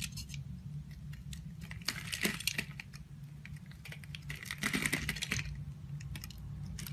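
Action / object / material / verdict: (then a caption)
scrape / bar of soap carved with a knife blade / soap / none. A solid yellow oval soap bar, held in the hand, is carved with a utility knife blade, and flaky shavings come off and fall. Quiet, continuous scraping and crackling is heard over a low hum, with two brighter bursts of dense, crisp scraping rising in the upper mids.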